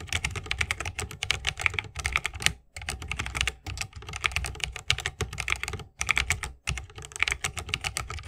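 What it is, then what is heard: Mechanical keyboard with plastic keycaps in a wooden case. Fingertips of both hands type fast on a 60% mechanical keyboard with plastic keycaps on tactile Holy Panda switches, set in a solid bamboo wooden case with RGB lighting and resting on a wrist rest. Dense runs of short, bright clacks over a soft low thock are broken by brief pauses, and each keystroke dies away almost instantly.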